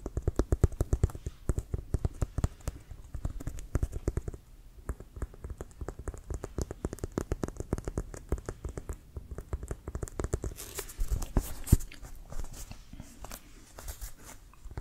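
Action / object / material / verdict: tap / inflated composite leather American football / composite leather / none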